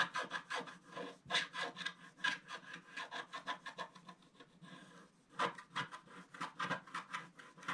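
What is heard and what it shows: A wooden stylus scratches lines into the bottom center of a flat scratch-art paper page, black coating over gold foil, while fingers steady the page. A quick run of short, dry, bright rasping strokes rises and falls in rhythm, pauses briefly near the middle, then resumes.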